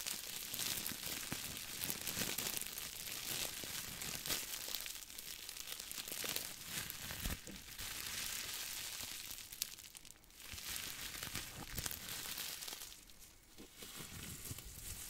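A small crumpled ball of aluminum foil is squeezed and crinkled with the fingers near the microphone. Dense, bright crackling and crinkling runs throughout, with sharp snaps and brief quieter dips around the ten- and thirteen-second marks.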